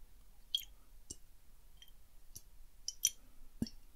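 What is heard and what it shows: Fingertips tap lightly on a small clear glass bottle with a silver cap, partly filled with water, as it is held and tilted in the hand, making the water slosh and plop inside. Quiet, bright, irregular clicks and ticks come and go with almost no ringing, over a faint low background.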